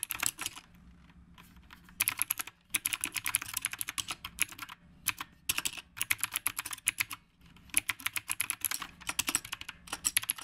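Both hands type continuously with the fingertips on a black retro typewriter-style mechanical keyboard with round plastic keycaps. Rapid, bright, clicky keystrokes come in bursts, each click short and dry with almost no ring. Brief pauses separate the runs of typing.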